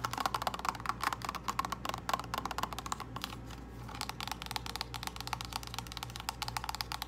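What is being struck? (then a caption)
Small cardboard box with plastic window. Long nails tap quickly on the face and along the narrow edge of a small, hollow purple cardboard false-eyelash box with a plastic window, close to the microphone. The dry, clicky taps have a hollow ring around 1 kHz, with a brief lull near the middle before the rapid tapping resumes over a steady low hum.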